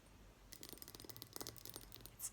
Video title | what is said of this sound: ASMR * Fast Tapping Only! * 7 Items * No Scratching * Soft Spoken * ASMRVilla | It's muted here, of course. Still sounds nice